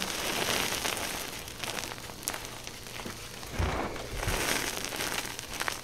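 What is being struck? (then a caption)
Loose pile of gym chalk powder. Both hands with long painted nails dig into, squeeze and rub through a large loose pile of crushed white gym chalk powder on a dark surface. The result is a steady, bright, gritty crunching and crumbling, with occasional louder soft thumps as handfuls are pressed.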